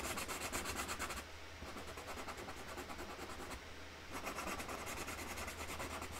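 A hand rubs a dark Sharpie marker nib back and forth over a printed flower outline on a large flat cardboard box lid, colouring it in with quick strokes. The result is a steady, rhythmic, bright scratchy rubbing with a faint low hum beneath. The scratching briefly softens twice before resuming.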